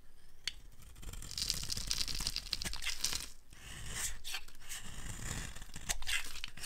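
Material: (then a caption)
Soap. A dry, solid green Palma bar soap held in the hand is scraped and carved with a utility blade, sending curly shavings off the bar. Crisp, crackling tearing strokes with a bright, high hiss run nearly continuously over a soft low rumble, with a few sharper clicks as the blade bites in.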